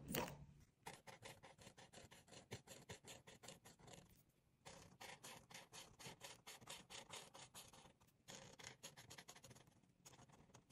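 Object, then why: Marker tip on a paper page. A hand with long pink nails rubs a marker's tip back and forth over a thin white coloring book page lying on a dark table, coloring in a drawing of a bottle. Rapid, bright scratchy strokes come in runs, with brief pauses between them.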